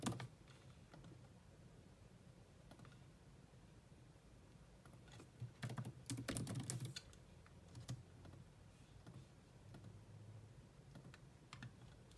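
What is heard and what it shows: Long manicured nails and fingertips type rapidly on the low-profile plastic keys of a grey laptop keyboard while the other hand rests on a mouse. Soft, irregular, low-pitched tapping clicks continue throughout, with a louder, busier burst of keystrokes around the middle.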